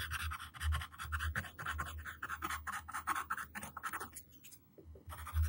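The tip of a yellow wooden graphite pencil, held in the hand, scratches across a flat white paper sheet lying on a table, drawing long lines. Dense, rapid scratching strokes produce a bright, gritty hiss over a low rumble. The scratching briefly drops away near the end, then resumes.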